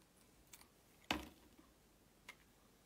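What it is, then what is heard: Bar of soap being carved. A box-cutter blade slices thin layers off a solid, rectangular blue and white striped bar of soap held in the hand. Four short, crisp scraping clicks sound, the loudest a bright, full-bodied shave near the middle with a brief tail, against a quiet background.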